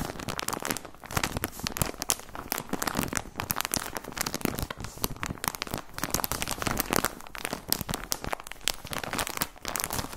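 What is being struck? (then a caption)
Plastic sock package. Fingertips crinkle and squeeze a plastic package of white socks. The result is a continuous stream of dense, sharp, bright crackles and rustles that swell and fade in bursts, each snap dying away almost instantly.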